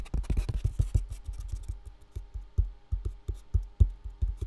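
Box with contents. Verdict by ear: Full.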